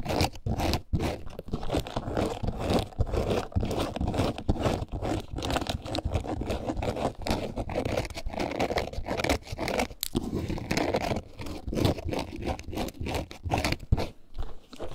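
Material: Faux leather.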